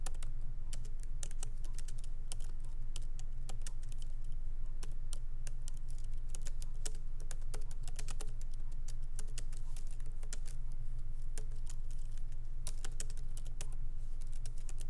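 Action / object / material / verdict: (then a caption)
tap / laptop keyboard with plastic keycaps / plastic / none. Fingertips of both hands lightly tap the black plastic keycaps of a MacBook Pro keyboard set in an aluminum body on a wooden desk. Quick, irregular, soft clicks of steady typing run throughout over a low, constant hum.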